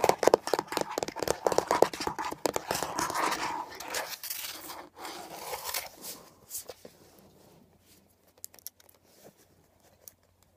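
Long nails quickly scratch and tap the textured surface of a beige, hollow plastic air freshener dispenser housing, first lying on its side and then stood upright. Dense, dry, scratchy rasps with a hollow plastic tone fill the first few seconds, then fade into a quieter scrape and a few sparse, faint ticks by the end.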